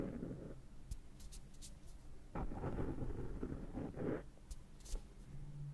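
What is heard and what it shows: Fingertips pick and scratch cat hair off the rounded top of a black foam microphone windscreen, close to the mic. The result is muffled, heavy low rumbling and rustling in uneven bursts, with faint bright ticks from the scratching.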